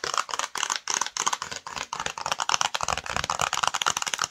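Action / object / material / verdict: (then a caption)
tap / small printed cardboard box tapped and scratched with fingernails / cardboard / none. Long nails rapidly tap and scratch the front and edge of a flat, hollow, black and yellow printed cardboard UniqueMe screen protector box held in the hands. The result is a dense run of quick, dry, bright clicks and scratchy rasps with no ring.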